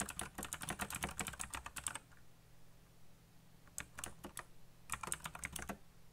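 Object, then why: Mechanical computer keyboard with plastic keycaps. Fingertips fast-type on a black backlit mechanical computer keyboard with plastic keycaps. A dense two-second burst of bright, sharp clacks is followed by a pause with only a faint low hum, then a short flurry of keystrokes and a final quick run. The clicks are crisp and snappy, dying out almost instantly.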